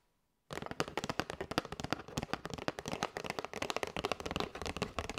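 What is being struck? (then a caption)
Cardboard box of paper straws. Long white nails tap rapidly across the front and edges of a flat kraft cardboard box with a clear window, full of paper straws and held in both hands. After a brief silence, a dense stream of short, dry, crisp clicks starts, with a bright edge and almost no ring.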